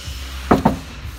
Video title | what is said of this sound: Renault Duster дополнительная шумоизоляционная защита Комфортмат. Сократили шум и сделали комфортнее | голый металл. Слышите, как звенит.